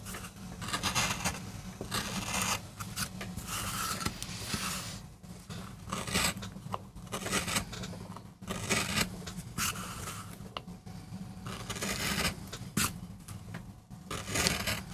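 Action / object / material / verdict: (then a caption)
scrape / MDF board carved with a metal gouge / MDF / none. A metal gouge carves and scrapes grooves into the surface of a small, flat, solid MDF board while the other hand holds the board steady. Bright, gritty scraping strokes come in repeated bursts with brief pauses between them. A low, steady hum runs underneath throughout.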